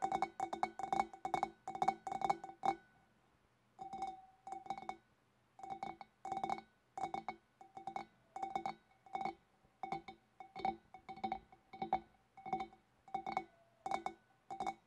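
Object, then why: Glass fish bowl. Long black nails tap the shoulder of a large, clear, empty, hollow glass fish bowl with both hands. The result is quick bursts of light, bright clinks, each carrying a short glassy ring around 780 Hz. The bursts come in a steady rhythm, with a brief pause near the start.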